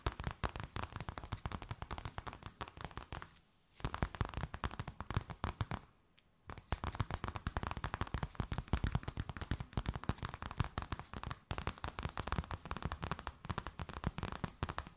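An empty, stiff, transparent plastic bag is held up and tapped and crinkled with long grey nails. A dense, rapid run of sharp, crackling taps and rustles continues throughout, with two brief pauses around 3.5 and 6 seconds. Each tap ends almost instantly, with most of the energy sitting low.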